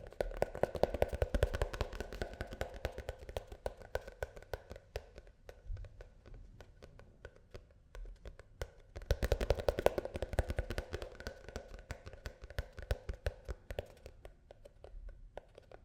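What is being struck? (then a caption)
Plastic shampoo tube. A plastic shampoo tube is tapped quickly with short, dry, hollow clicks that carry a faint mid-pitched tone around 570 Hz and a soft low thump. The tapping comes in two dense, louder bursts at the start and around the ninth second, with lighter, sparser taps in between and toward the end.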